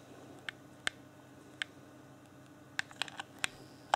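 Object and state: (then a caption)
Plastic game controller buttons clicked. Fingertips tap and click the D-pad and buttons of an Xbox One Afterglow controller, a hand-sized, hollow, clear plastic game controller. Eight short, bright plastic clicks come at uneven intervals, each dying away almost instantly over a faint steady background hiss.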